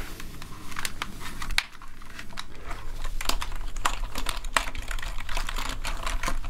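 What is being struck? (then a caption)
Plastic computer keyboard. A plastic gaming keyboard lying on a desk is typed on rapidly with the fingertips of both hands. It gives a dense run of short, sharp plastic clicks over a steady low hum, with a few brighter, louder key strikes standing out.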